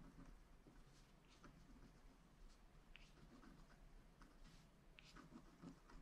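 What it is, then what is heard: Scratch art card being scratched. A wooden stylus scratches lines into the black coating of a small, flat scratch art card made of wax-coated paper, lying on a table and held down by one hand. Quiet, soft, patter-like scratching strokes with brief brighter ticks run over a steady low rumble.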